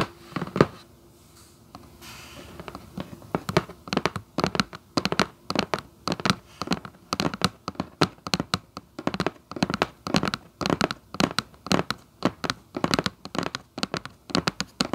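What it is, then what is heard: Cardboard shoebox lid. Long acrylic nails on one hand tap and scratch near the edge of the lid of a hollow red Vans cardboard shoebox. After a sharp tap and a quieter scratchy stretch, steady clusters of quick, dry, clicky taps with a hollow mid-range tone and bright scratchy edges continue to the end. Each tap dies away almost at once.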